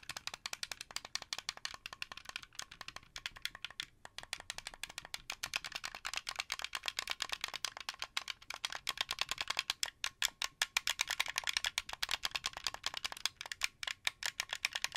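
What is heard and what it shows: Fingertips rapidly tap and click the face buttons and sticks of a translucent blue, hollow plastic Xbox 360 game controller. The result is a dense, continuous stream of sharp, dry plastic clicks and rattles that is bright and almost entirely lacking low end, with each click dying away instantly.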